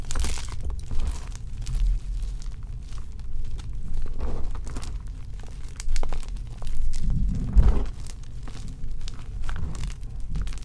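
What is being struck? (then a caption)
Gym chalk blocks (magnesium carbonate). A mound of crushed white and pink gym chalk, four blocks of magnesium carbonate, sits in a bowl while both hands knead and rub it, crumbling the remaining lumps into powder. Soft, dense crunching and crinkling come in uneven bursts, with most of the energy low and muffled and a few sharper crumbles standing out.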